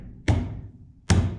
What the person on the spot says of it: huge difference. It's a nice solid thud. No ringing. Big difference.